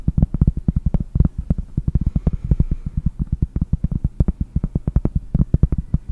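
A large round solid cork trivet, held in both hands, is tapped rapidly by long painted nails. The result is a fast run of dull, low, hollow knocks with almost no ring, each clearly separated.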